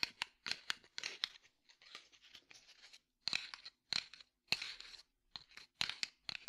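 A small red and white cardboard matchbox is held in one hand and tapped and scratched with the fingertips and nails of the other hand. Quiet, dry, bright taps alternate with raspy scratching passages, with almost no low end and short pauses between bursts.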